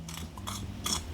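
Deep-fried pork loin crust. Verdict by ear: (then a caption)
Crispy. The crust of a deep-fried pork loin is tapped or scraped, giving three short, dry, crunchy crackles over a low steady hum. The crisp crackling shows the fried crust is crispy.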